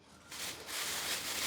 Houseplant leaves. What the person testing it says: she's very crispy ... I seriously don't know how this is alive it's bone dry